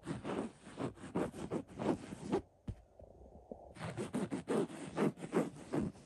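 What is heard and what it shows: Fingertips scratch along the letters of a black script print on a cream linen-weave throw pillow. The result is a rapid series of soft, dry, low-toned scratching strokes, with a brief quiet pause midway before the scratching resumes.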